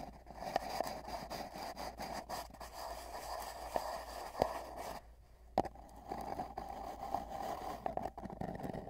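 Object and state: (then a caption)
Cardboard tube. Fingertips of both hands rest on a long, hollow, spiral-wound cardboard tube lying on a bedsheet, with a microphone inside, and rub and tap its surface. The sound is a steady, hollow, resonant scratching with a boxy ringing tone around 700 Hz, broken by a few sharper, louder taps and a brief quieter pause near the middle.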